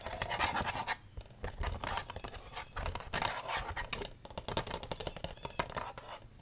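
Long red nails scratch and tap on the inner plastic of an open black plastic DVD case with the disc still inside. Dense bursts of dry, bright scratching alternate with quick clicky taps, with brief pauses between the flurries.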